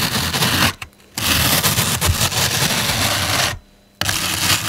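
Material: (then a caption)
Foam. Long pink nails and fingertips press, scratch and rub the top and sides of a large solid block of turquoise-green floral foam on a table. The result is a dense, bright, crackling scrape in three long stretches, broken by two short silent pauses.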